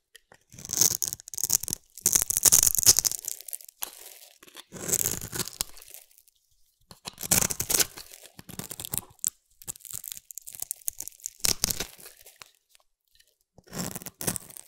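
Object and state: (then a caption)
Bar of soap being scraped. A solid oval yellow-green bar of soap is held in the hand and scraped with a metal blade, peeling off shavings. Bursts of dry, crisp, tearing scrapes come in uneven strokes with short pauses between them, bright and hissy with almost no low end.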